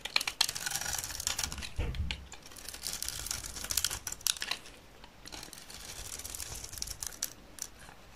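A utility knife blade scrapes shavings off the face of a solid, dry green soap bar held in the hand. Irregular, crisp scraping and crackling strokes come through bright and high, with a brief low thump near the two-second mark. The strokes thin out toward the end.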